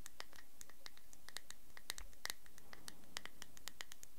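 A small, thick-walled clear glass cosmetic cream jar with a shiny gold screw lid is held in one hand close to the recorder while fingertips and nails scratch and tap its glass body and lid. The result is a quiet, rapid series of bright clicks and scratchy ticks over a low hum.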